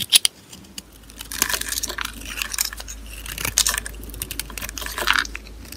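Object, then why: Soap bar. A small green-handled blade held in gloved hands scrapes shavings off a solid, dry white rectangular bar of soap, with another soap bar resting nearby. Two sharp ticks open the clip, followed by a steady, crisp, bright scraping and crackling with brief louder bursts as the shavings come away.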